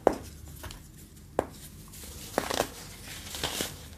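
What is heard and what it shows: A pale pink chunk of compressed, dyed baking soda is held in the fingertips and crushed and rubbed between the fingers over a bed of red-dyed baking soda powder with white crumbs. Several sharp, dry crunches ring out as the solid, brittle block breaks. Soft, bright crumbling and grainy rustling follow as the pieces fall away.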